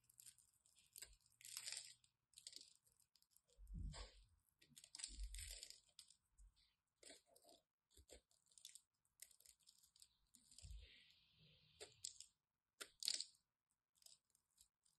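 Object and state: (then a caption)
Bar of soap being cut. A solid green and white striped bar of soap, held in the hand, is scored and cut with a craft knife. The clip is a run of short, crisp, crunchy scraping strokes with bright, hissy highs, some of them carrying soft low thumps, separated by brief quiet gaps.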